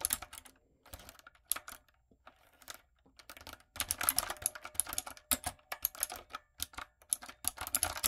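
Long nails and fingertips type on a retro typewriter-style backlit mechanical keyboard with round plastic keycaps. Sharp, bright clicks and clacks come in short bursts with brief pauses, sparse at first and then faster and denser in the second half. Each keystroke dies away almost instantly.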